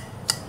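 A single knock on the bowl housing of an iBright ZE 11 bi-LED projector headlight (2.5 inch, 50/60 W) gives a short, dense tick. The tick is bright and high-pitched and dies away almost at once, with no ringing. This marks a thick, solid, premium bowl.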